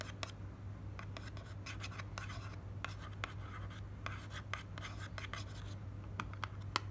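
Long nails scratch and tap the face of a slim, white, printed paperboard cream box held in the hand, producing quiet dry scratching strokes with sharp, bright clicking taps scattered throughout. A steady low hum runs underneath the whole time.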